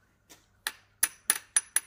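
A Qing-style silver dollar from a family set of heirloom coins is tapped six times, the first faintly. Each tap gives a short, bright, high clink that dies away almost at once, with no lasting ring. The coin is judged to be copper rather than silver and an obvious fake.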